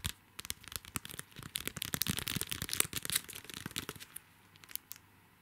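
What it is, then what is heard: Plastic sticker pack being scratched. A small, flat pack of Hello Kitty sticker flakes in a clear plastic sleeve with a red printed card header is held in both hands while fingertips and nails scratch and crinkle its plastic front. The result is a dense run of bright, crackly crinkles and scratches with very short, dry snaps. It thins out toward the end into a few scattered light ticks.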